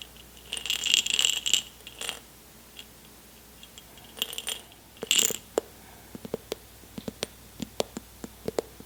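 An airtight jar full of M&M's, unopened since they were taken from a backstage lounge, is shaken and handled. The candies rattle against the glass in bright, dense bursts of clicks, then settle into a string of sharp, separate ticks and taps as the jar is moved more gently.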